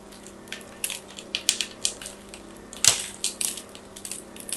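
A small, solid pink-and-white striped bar of soap, held in one hand with a second bar sitting unused nearby, is carved with a small metal craft blade so flakes fall away. About twelve short, crisp scraping cuts ring out, bright and high with almost no low end, each fading quickly over a faint steady hum.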